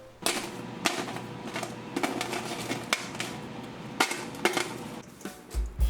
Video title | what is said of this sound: AIR FRYER CRISPY SALT & PEPPER TOFU | listen to how crispy this tofu really is